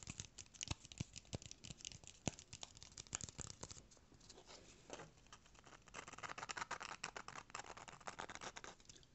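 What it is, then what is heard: Corrugated cardboard piece. A small brown corrugated cardboard rectangle, held in hands, is tapped and scratched with fingernails. Many quick, dry, crisp taps are heard at first. They give way to a softer scratching stretch, then to denser, brighter scratching and rustling.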